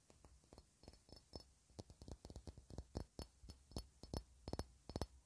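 A hand-sized, clear, faceted cut-glass ornament held in the hands is tapped and scratched over its facets with long red nails. About 22 quick, irregular taps sound as soft, dull low thumps with bright clicky edges and almost no ring, separated by faint scratching between them.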